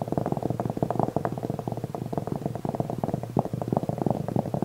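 Curled fingers with nails rapidly scratch the velvet surface of a black velvet-covered jewelry tray held upright. A dense, soft, muffled rasping stays low and dull, with no bright edge, and keeps up a steady, uneven rhythm throughout.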